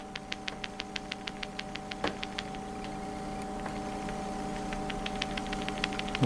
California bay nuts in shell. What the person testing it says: the nut as they dry they shrink inside the shell and that's an indicator